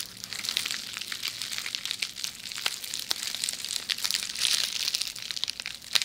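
A rolled tube of red plastic bubble wrap is held beside the microphone while long nails scratch along its bubbles. The result is a steady, dense stream of bright, high crinkling and scratchy ticks, with sharper clicks popping out now and then.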